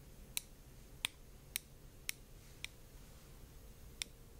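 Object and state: Glass globe bowl tapped.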